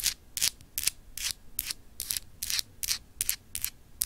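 Long acrylic nails scratch across a small, solid, clear etched glass globe paperweight with etched continents. Short, bright, hissy scraping strokes repeat at an uneven pace of about two to three per second, with very little low end and no ring after each stroke.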